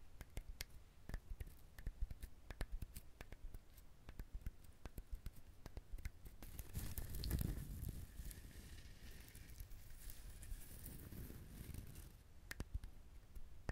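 A coconut shell is handled, tapped and scratched up close. Many sharp, quiet clicks and taps are spread through the clip. Around the middle, a louder stretch of broad rasping scratching rises, with low rumble and bright hiss.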